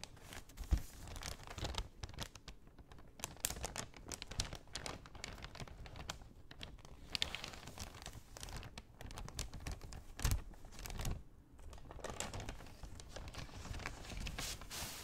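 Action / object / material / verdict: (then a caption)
tap / kraft paper bag / paper / none. An empty brown kraft paper shopping bag is held upright while fingernails tap on it, then a hand opens the top. Soft, quiet crinkling and papery rustling continue throughout, with a few sharper crackles and taps standing out.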